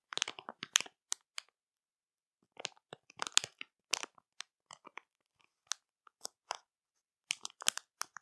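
Long matte nails tap and scratch the plastic film of a full marshmallow bag that has a clear window showing the marshmallows inside. Quiet bursts of crisp, bright crinkling and crunching come in short clusters with pauses in between.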